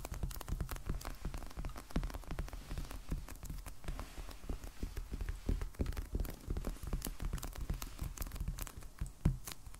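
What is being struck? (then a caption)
Hardcover sketchbook in plastic shrink wrap. A medium black hardcover sketchbook, solid and still in its plastic shrink wrap with a paper band, lies on a wooden table and is tapped rapidly with the fingertips and short nails of both hands. The result is a steady stream of short, dull, low thuds mixed with faint crisp clicks, each dying away almost instantly.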